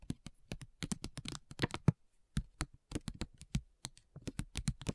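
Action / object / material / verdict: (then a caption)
tap / foil and paper sachet / foil / none. Long nails tap and scratch a flat foil-and-paper facial sheet mask sachet lying on a table. The result is a quick, irregular run of crisp, dry clicks and crinkly scratches that stop instantly with no ring.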